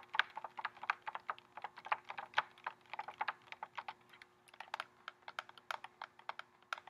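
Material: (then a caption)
Cardboard. Fingernails tap rapidly and irregularly on the cardboard frame of a pink lip gloss box, which has a clear plastic window and tubes inside and is held in both hands. Dozens of crisp, dry clicks with bright upper edges die away almost instantly, over a faint steady low hum.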